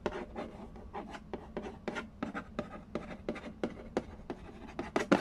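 Fingertips and nails scratch and trace across the glossy lid of a hollow cardboard Candy Land game box resting on a wooden floor. A quick series of short, dry scratching strokes rises and falls, each with a brief papery rasp that reaches into the high range and then stops almost at once.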